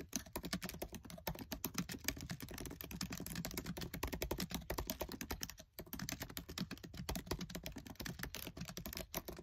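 Fingertips with short nails type fast on the black plastic keys of a MacBook Air keyboard set in an aluminium body. The result is a dense, steady stream of short, dry clicks and taps, with one brief pause just before the six-second mark before the rapid typing resumes.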